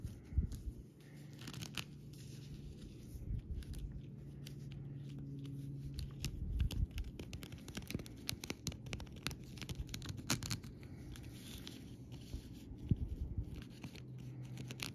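Fingertips and long painted nails scratch and tap across a flat sheet of small raised, rainbow-coloured acrylic rhinestone stickers lying on a fabric surface. The result is a steady, quiet bed of dry scratching and rustling over a low rumble, scattered with many short, sharp clicky taps that reach up bright. Faint crinkling, possibly from the plastic backing film, runs through it.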